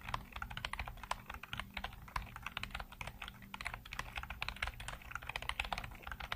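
Fingertips rapidly tap the keys of a black plastic computer keyboard with hollow keycaps, producing a steady stream of short, dry clicks and clacks. The clicks are bright with almost no ring, over a faint low hum.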